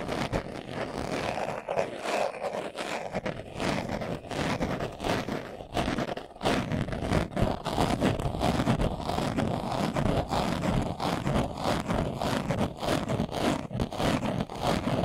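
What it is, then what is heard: Leather glasses case. A closed, hollow, hand-sized glasses case covered in brown leather is held in both hands and scratched fast with short nails and fingertips. The result is a dense, continuous rasping scratch centered in the mids, with rapid uneven strokes and a brief lull around six seconds before the scratching resumes.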